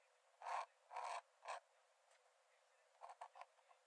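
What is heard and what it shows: A metal nib in a wooden dip-pen holder scratches thin lines onto the cream paper page of an open sketchbook lying flat on a dark desk. Three longer, raspy strokes come first, followed after a pause by a quick run of short, lighter scratches. The sound is dry and papery, centered in the mids with some bright hiss.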